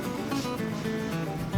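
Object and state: Nothing is struck.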